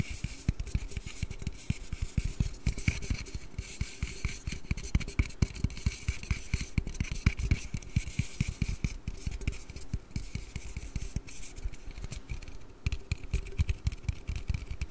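A hand-sized, hollow blue Red Bull aluminium energy drink can is held in both hands and tapped and scratched with fingers and nails. A steady stream of rapid, dry taps with a dull low thump is heard, layered with a faint bright scratching texture. Each tap dies away almost instantly.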